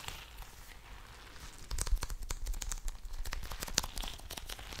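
A palm-sized blue soft rubber (TPR) squishy stress ball, full of water beads, is held close to the microphone and tapped and scratched with long nails and fingertips. A faint, quiet scratching opens the clip, then after about a second and a half it gives way to a dense run of sharp, bright, crinkly clicks and taps that die away instantly.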